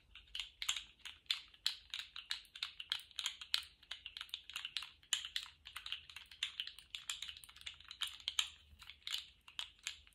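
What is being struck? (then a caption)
Plastic articulated fidget toy. A colourful jointed plastic slug fidget toy is held at both ends in gloved hands and bent and wiggled, so its hollow segments click together. The result is a quick, uneven run of dry, bright clicks centred around 3.2 kHz that stop almost instantly, in rattling clusters with no low-end body.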